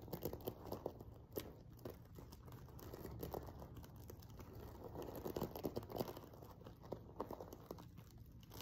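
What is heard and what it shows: Fingertips and nails rapidly scratch the sequin rows of a silver sequin-covered fabric pillow. The result is a soft, dense crinkling and scratching patter, mostly low and mid in tone, broken by short, dry clicks that barely ring.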